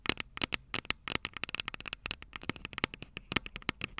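Long purple nails tap both small, hollow, silver metal microphone capsules of a Tascam DR-05 recorder resting on a table. A rapid, uneven run of sharp, bright clicks and ticks follows, each dying away almost instantly with very little low end.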